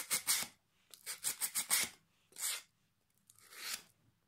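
A solid pine plank held across the lap has its edge sanded with sandpaper held in the fingertips. Nine short, bright, hissing rasps come in uneven bursts: two quick strokes, a run of five, then two slower, softer ones. Each stroke fades quickly, with almost no low end.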